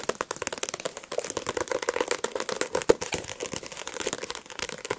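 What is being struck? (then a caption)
Paperback book with glossy card cover. Fingertips and nails tap and scratch rapidly on the glossy card cover of a solid paperback book. The result is a dense stream of quick, dry clicks with a hollow tone around 465 Hz and bright scratchy edges. Each tap dies away almost instantly, with one sharper tap standing out near the end.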